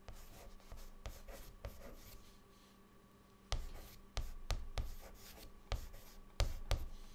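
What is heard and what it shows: A white chalk stick held in the fingertips writes words on a flat, dark, solid chalkboard. Short, dry scratching strokes are punctuated by sharp taps as the chalk meets the board, over a faint steady hum.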